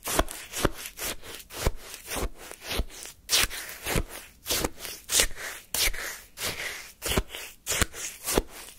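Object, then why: Lemon shaved-ice sorbet in a paper cup, wooden spoon. A wooden spoon scrapes and scoops lemon shaved-ice sorbet in a small paper cup. Repeated short, bright, crunchy scrapes come at an uneven pace, each one dying away almost at once. A low rustle sits underneath.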